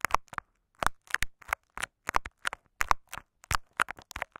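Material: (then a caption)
Plastic tape. Fingertips and short nails scratch and rub layers of clear scotch tape wrapped over a small hollow microphone capsule. The result is a rapid series of short, close crackling and crinkling scrapes with a sticky, papery texture, centered around 1 kHz and broken by brief silences.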